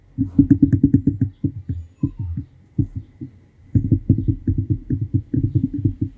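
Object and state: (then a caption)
Plastic comb. A fingernail runs and flicks across the teeth of a large, solid yellow plastic comb held in one hand, scratching it. This makes quick runs of dry, low ticking clicks in bursts, with short pauses between them. Each click is short and dies away almost at once.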